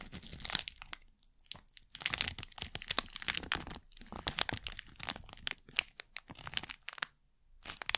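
A thin printed plastic packet is crinkled and pressed flat with the fingers and nails right at the mic. The result is dense, bright, crackling crinkles in rapid bursts, broken by brief quiet pauses.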